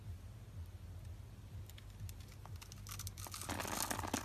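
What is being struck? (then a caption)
Bar of soap cut with a metal blade. A metal utility knife blade scrapes and cuts small cubes from a solid lilac bar of dry soap held in the palm and scored in a grid, and the cubes drop away. Over a low steady hum, faint scratching grows into dense, bright, crisp crunching and crackling that gets louder toward the end.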